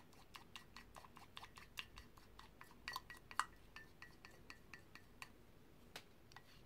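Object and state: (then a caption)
Ceramic mug. A paintbrush is stirred in green paint inside a white ceramic mug held in one hand, and it knocks against the mug's inner rim and walls. The result is a quiet series of short, bright clinks and taps, with a few stronger knocks ringing briefly near the middle.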